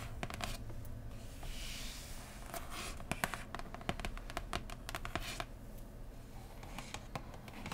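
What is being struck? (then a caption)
Cardboard board game box. Long painted nails and fingertips of both hands tap and scratch a large, flat, printed cardboard board game box (Root) with a hollow lid, lying on cloth. Quick, sharp clicks and taps are scattered among soft, hissy scratching strokes across its surface.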